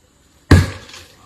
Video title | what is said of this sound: Dalam bahaya? Tersesat? Tips SOS dalam Hutan | ni tak sedap kan? Cuba cari yang bunyi yang kuat.